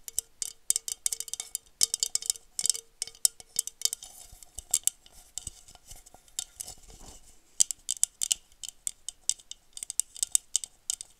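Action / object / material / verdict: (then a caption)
tap / textured glass wine goblet / glass / none. Long nails tap and scratch an empty blue wine glass goblet with a honeycomb-textured bowl. Quick, bright, dry clicks and chinks stay almost entirely in the high treble. Brief scratchy scraping passes sit between bursts of rapid tapping.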